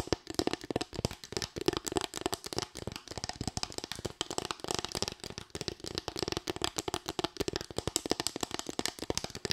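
A small, light bamboo board with raised slats is tapped and scratched with long white nails. Rapid, dry clicking taps come in dense bursts over a soft scratchy rasp, with a faint hollow tone in the low-mid range. Each tap dies away almost instantly.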